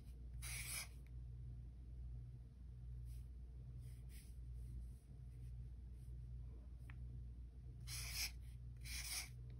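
A white-barrel alcohol marker tip is stroked across the thick paper of a spiral-bound sketchbook page with a strip of washi tape, drawing red heart outlines. Its scratchy, bright rubbing strokes come in short bursts over a steady low hum.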